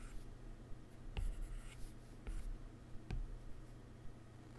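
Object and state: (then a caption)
Stylus on glass tablet screen. A hard plastic stylus rubs shading strokes across the solid glass screen of a large, flat iPad resting on a laptop keyboard. It then taps a menu near the screen's edge. Soft, low scratchy rubbing is broken by three distinct short, dull taps.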